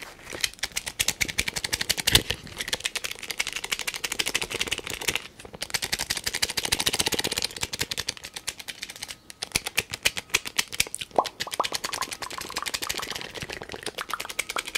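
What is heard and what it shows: A fingertip rapidly taps and clicks the top of a small, hollow, black-and-yellow plastic tape measure case held next to the microphone. The result is a dense stream of dry, bright clicks with almost no ring, centered high around 2.9 kHz and with very little low end. The tapping runs steadily through the clip, with brief pauses around 5 and 9 seconds.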